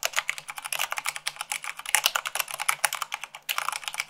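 Fingertips with long acrylic nails type fast, at 98 words per minute, on a full-size mechanical keyboard with white plastic keycaps on a black base. About 32 quick, bright plastic clicks and taps follow each other closely, each dying away almost at once, with no low rumble. There is a brief lull just before 3.5 seconds before the typing picks up again.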